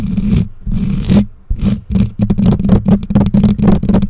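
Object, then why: Metal mesh microphone grille. Long nails scratch and tap the bare black metal mesh grille of a condenser microphone. Broad, raspy scraping swells come in bursts over a heavy low rumble, then give way to a quicker run of short, dry taps and scratches. Each touch stops almost instantly, with no ring.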